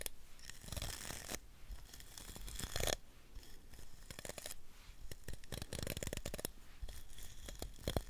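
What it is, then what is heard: Plastic round hairbrush. Long nails scratch and flick the bristles of a hand-sized round hairbrush with a teal plastic handle and a bristle barrel, held close to the microphone. The result is a steady, dense crackling scratch full of rapid ticks and snaps, with brighter hissing bursts in the first three seconds and a close, low thump underneath.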